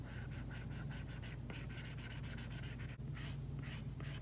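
A plastic Apple Pencil tip makes dense, short strokes and taps while shading on a flat, solid iPad screen covered with a matte plastic screen protector. Quick, bright scratchy bursts repeat in a steady rhythm over a constant low hum, with a brief pause near the three-second mark before the strokes resume.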